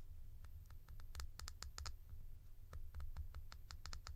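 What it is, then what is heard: Plastic cap tapped with nails. A hollow blue plastic cap with a ridged white insert is held in the hand and scratched and tapped with long nails on its textured top and sides. The result is a quick, uneven run of dry, bright clicks and light scratches that stop at once with no ring, over a steady low rumble.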